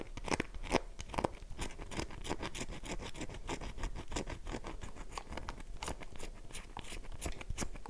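A solid, oval, light-blue dry bar of soap held in the palm has its face and edge scratched quickly with long nails. The result is a dense stream of short, dry, crunchy scrapes with bright crackling edges and almost no ring.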